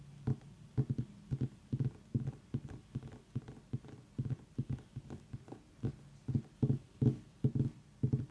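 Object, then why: Small whole pumpkin. Long nails tap around the stem of a small whole orange pumpkin, which is then lifted and tapped while held. About two dozen short, dull, hollow knocks sit low around 105 Hz, each dying away almost instantly, in a quick, uneven rhythm.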